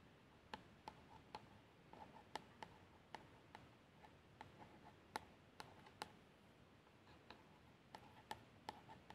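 A long nail traces the label text on a plastic shower gel bottle that appears filled. A quiet, steady scratching hiss is broken by seventeen sharp, very short ticks with a faint tone near 860 Hz and bright tips that die out instantly.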